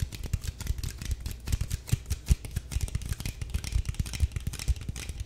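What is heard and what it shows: A small clear plastic drinking-water bottle with a white cap and blue label, hollow and partly full of water, is held in one hand and tapped and crinkled with long nails and fingertips close to the mic. The result is a dense, continuous stream of quick, dry clicks and soft low thumps with crackly crinkling between them and no ring after each tap.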